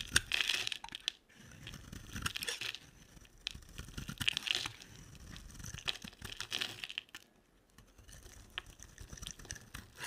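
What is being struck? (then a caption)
Soap bar. An oval, solid, dry white bar of soap held in the hand is shaved with a utility knife blade, sending white flakes falling off. Each stroke makes a crisp, bright, crunchy scraping and crinkling sound, coming in repeated bursts separated by short quiet pauses.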